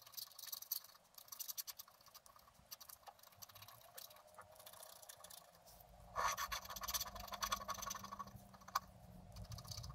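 A wooden stylus scratches short strokes into the coating of a flat black-coated scratch art card held flat by one hand. The result is quiet, dry, bright scratching with little low end, and the strokes grow louder and denser in the second half.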